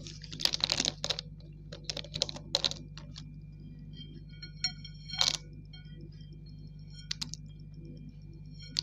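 A handful of thin, solid, wet grey slate pencil sticks is picked up and dropped by the fingers onto a smooth tiled floor, where they clatter into a loose pile. Quick, bright clicks and ticks come in scattered clusters, with a faint high ringing between them. A steady low hum runs underneath throughout.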